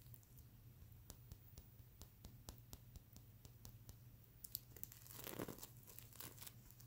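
Medium-length fingernails on both hands scratch the plastic sequins of a sequin-fabric mermaid unicorn pillow. Sharp, bright clicks and ticks come first, then a denser, crinkly scratching burst near the end. A low, steady hum runs underneath throughout.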